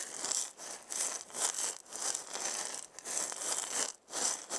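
A hand-sized round wooden maraca with a wooden handle and a burned zigzag pattern, hollow with filling inside, is shaken by hand. It makes bright, dry rattling bursts in uneven swells with brief pauses between them, and almost no low end.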